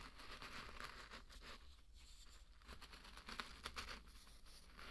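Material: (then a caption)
Barley grain. A thin wooden stick or spatula rakes and stirs through a large loose bed of dry pearl barley grains. The result is a quiet, continuous gritty rustle and crunch with bright, high grainy hiss, punctuated near the end by a few sharper ticks.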